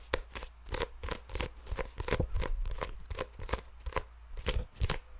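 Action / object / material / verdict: tap / sealed paper trading card pack / paper / none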